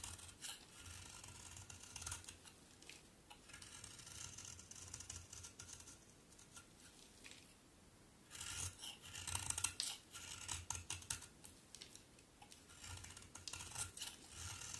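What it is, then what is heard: Bar soap being scraped and cut. A solid pink-brown bar of soap, held in the hand, is scraped and cut with a utility knife blade, and shavings fall onto the table. The sound is a quiet, bright, dry scraping and rasping with many quick crisp cuts and little low end. It grows louder and more clustered in the second half.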